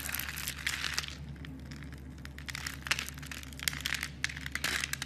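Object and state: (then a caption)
Bar soap being scraped with a knife. A knife blade scrapes cubes off a solid blue bar of soap scored in a grid, held with long dark nails, until the smooth surface shows. Dense, bright, crumbly scraping and crisp crunching come in bursts over a steady low hum.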